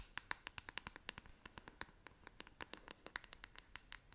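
Long acrylic nails scratch the bristles and back of a hand-sized black plastic paddle hairbrush held close to the face. About thirty quick, dry, bright clicks and scratches follow one another, each stopping instantly with no ring. The overall sound is quiet and has little low end.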